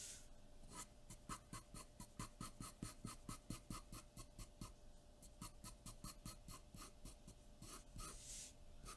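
A graphite pencil makes dense, short shading strokes across a large sheet of white drawing paper taped flat to a dark board. Each stroke is a quick, bright scratch with a soft, low papery thump beneath it, repeating rapidly and somewhat unevenly for the whole clip over a faint steady hum.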